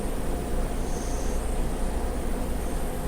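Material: Nothing is struck.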